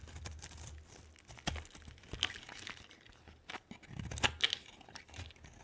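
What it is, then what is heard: Bar of soap being cut. A hand-sized solid white bar of soap with a yellow outer layer is cut into chunks and shavings with a utility knife blade. Quiet, bright scraping and crisp cracking snaps come in quick bursts, with a few sharper cuts standing out near the middle and end. Each cut stops dead with no ring.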